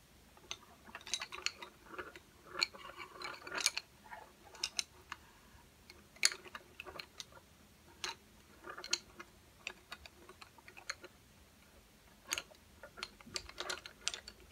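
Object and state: Wooden colouring pencils.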